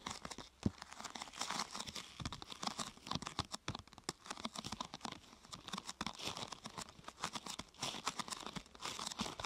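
Fingertips and nails press, rub and scratch a thin, glossy purple plastic sheet curved into a hollow half-tube. The result is a steady run of quiet, dense, bright crinkling and crackling with short, sharp snaps throughout.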